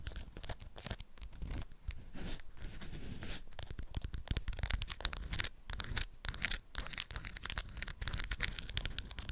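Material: Waxed cotton.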